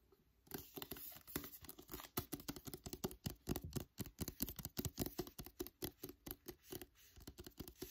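Fingertips and nails rapidly tap and scratch the paper cover of a solid "Wonder" paperback book held in the hand. The result is a quiet, dry, continuous patter of short, soft taps mixed with crisp scratching.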